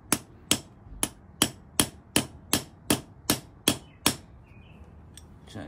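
A thin, black, hollow steel push rod with a brass top fitting stands upright on a concrete floor, held by the fingers, while its brass end is knocked with a wooden-handled steel ball-peen hammer. Eleven short, sharp, bright metallic knocks come at a steady pace, each dying away almost instantly. A faint light rattle follows.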